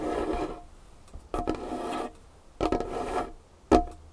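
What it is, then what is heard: Wooden table. Long fingernails scratch and tap on a large, solid dark-wood tabletop. Raspy scratching strokes come in bursts, separated by quiet gaps, with a faint mid-pitched tone. Sharp, short fingernail taps follow at the end.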